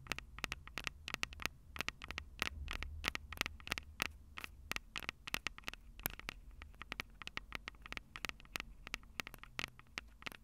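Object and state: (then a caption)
Metal microphone capsules tapped with fingernails. Long purple nails tap fast on the metal microphone capsule housings on top of a Tascam DR-05 recorder. The result is a rapid, uneven patter of sharp, bright clicks that die away almost instantly over a faint low hum.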